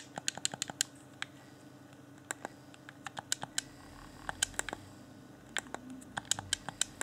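Thumbs click the buttons and sticks of a hand-sized, hollow, transparent plastic Xbox One Afterglow game controller held in both hands. About 29 sharp, bright plastic clicks come in quick bursts with short pauses, each dying away almost instantly over a faint steady hiss.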